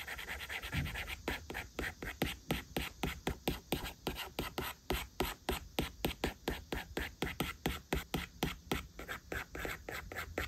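A plastic stylus makes quick, short strokes over an iPad's glass screen while the fingertips of the left hand rest on the glass. About forty crisp scratch-taps come at roughly four per second in a loose rhythm, each a dry, brief tick with a light, bright scrape and a faint low thump.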